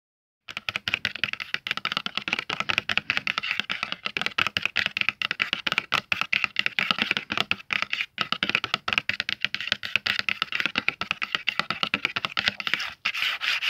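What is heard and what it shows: Fingertips and short nails tap and lightly scratch the front lid of a closed, flat, medium-sized, hollow red printed cardboard Faber-Castell box of 12 oil pastels. A fast, steady stream of dry, bright clicks and soft scratches runs for about 13 seconds with almost no low end and no ring after each tap.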